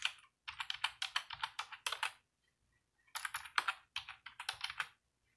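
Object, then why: Plastic computer keyboard. Fingertips and short nails quickly tap the hollow keys of a slim white plastic computer keyboard lying on a desk, with both hands typing continuously. Rapid, bright plastic clicks come in two bursts separated by a brief pause of about a second, and each click is short and dry with almost no ring.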